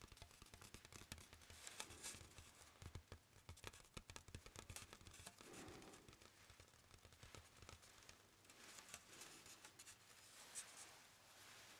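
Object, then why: Hardboard clipboard. A brown hardboard clipboard, a thin, flat, solid board held in both hands, is tapped with fingertips and nails. The result is a quick, uneven series of dry, bright clicks and taps that die away almost instantly. Softer scratchy, rubbing passages appear between the taps.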